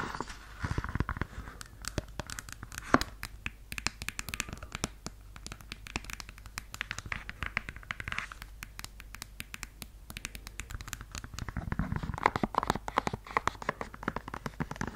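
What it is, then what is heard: Suede high-heel pump scratched with fingernails. Long yellow nails scratch across the red suede of a stiletto pump and inside the shoe on its beige leather insole. The result is a dense run of soft, dry scratching and crackling clicks with a low rumble beneath. Brighter strokes bunch near the start and again toward the end.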